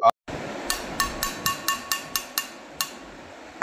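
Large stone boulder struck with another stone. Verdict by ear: Ringing.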